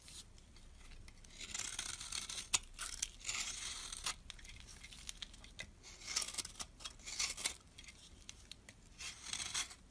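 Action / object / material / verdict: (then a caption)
scrape / bar of soap scraped with a metal blade / soap / none. A metal blade scrapes shavings off the end of a solid brown bar of soap. The quiet strokes come as bright, crisp rasping bursts with a few sharp clicks, and there is almost no low end.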